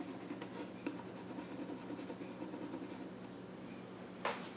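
A pencil scratches and rubs along the grain of the flat top of a small wooden child's stool while drawing, giving a steady, soft, dry rasp over a low constant hum. A few sharper scrapes stand out, with a brighter, louder stroke near the end.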